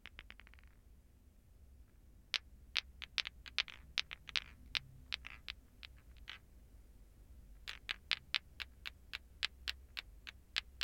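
A plastic ball clacker (lato-lato), a toy of two small solid, glowing green plastic balls on a string, hangs from the fingers and is set swinging so the balls knock into each other repeatedly. A quick burst of tiny rattling taps opens the clip, then a pause gives way to sharp, bright, dry clacks at an uneven rhythm, with a few soft swishes between them. After a brief lull, the clacks return as a steadier run.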